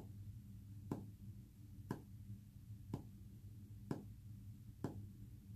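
Short fingernails tap a flat, solid, white-painted wooden panel five times at roughly one-second intervals, each a quiet, sharp click that dies away almost instantly. A steady low hum runs underneath throughout.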